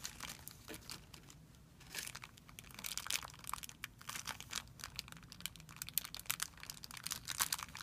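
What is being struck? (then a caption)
Thin clear plastic film bag. Fingertips pinch and rub a thin, clear plastic film bag resting on a white surface, making it crinkle. Dense, irregular crackles come in quick bursts, bright and crisp with almost no low end. Each snap dies away instantly.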